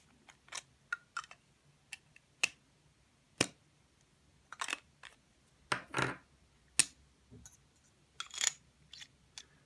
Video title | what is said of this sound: Kaweco SPORT Series - An Overview | this is aluminium sounds more substantial